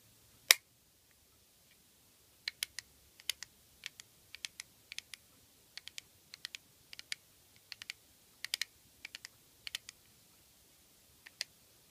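Fingernails tap the lid and edges of a small, hollow black plastic eyeshadow compact with a clear window. The result is a long series of quiet, sharp, bright clicks that stop instantly, coming in quick clusters after an opening tap and separated by brief silences.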